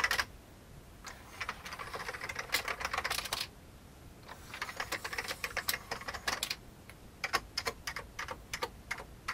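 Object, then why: Plastic computer keyboard. Fingertips type on the keys of an old, full-size vintage beige plastic computer keyboard. Bright, dry plastic clicks and clacks come in quick runs separated by short pauses, with little low end. The final stretch has sharper, more spaced-out keystrokes.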